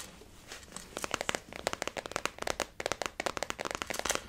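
Long natural nails and fingertips tap the top and side of a closed blue flower-printed synthetic leather zip wallet resting on a table. After a quiet, faintly rustling start, about twenty-two quick, dry taps follow in an irregular stream. Each is a crisp click with a bright, crinkly edge that stops at once with no ring.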